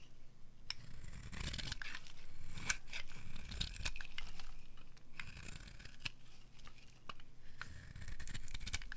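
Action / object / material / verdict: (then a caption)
scrape / bar of soap scraped with a metal blade / soap / none. A metal blade scrapes across the surface and edge of a solid, dry orange bar of soap, carving off thin shavings. Rapid, irregular dry scratching strokes crackle and rasp with bright, crisp edges over a steady low rumble, continuing through the clip.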